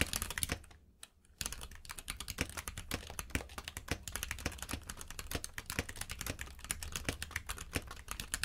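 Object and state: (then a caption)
Mechanical keyboard with plastic keycaps. Fingertips type steadily on a compact mechanical keyboard with plastic keycaps resting on a purple mat. Rapid, crisp clicks and clacks come with a low underlying thud, pausing briefly near the one-second mark before the typing resumes.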